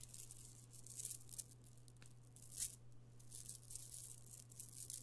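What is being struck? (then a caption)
Strand of small amethyst stone chips. A strand of small purple amethyst stone chips from a chip bead necklace is lowered and piled into an open palm, then fingered. The chips clink and rattle against each other in bright, crisp bursts, with a few louder clusters, over a steady low hum.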